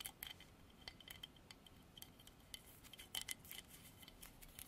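Long artificial nails scratch and tap on a solid carved horse statue of dark striped hardwood set on a base. The result is quiet, bright, dry clicks and scratchy rasps that die away almost instantly, with a few sharper taps standing out over a soft, steady hiss.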